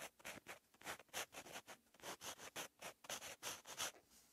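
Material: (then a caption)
Paper. A white-barrel purple gel marker pen, held in the fingertips, writes on a flat lined notebook page resting on a pad. The pen tip makes quiet, bright scratching strokes in about 16 short bursts, with almost no low end.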